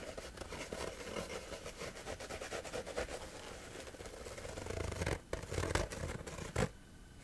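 Fingertips and nails scratch and rub across a flat sheet of coarse-textured woven fabric lying on a surface. A steady run of quick, rasping strokes fills most of the clip, growing a little louder with a few sharper scrapes before stopping abruptly near the end and leaving near-silence.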